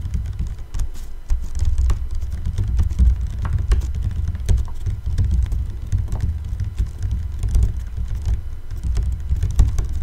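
A large 5-litre ribbed clear PET bottle with a blue cap, partly filled with water and held sideways near the mic, is tapped on its sides with fingertips and nails. The rapid, continuous tapping gives deep, hollow low thumps layered with short, bright clicks that die away almost at once.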